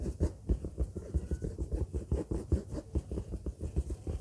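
A large orange textured faux-leather bag lying flat is scratched with the long fingernails of both hands. A rapid, steady series of soft, dull scratching strokes is heard, muffled and heavy in the low end with almost no brightness.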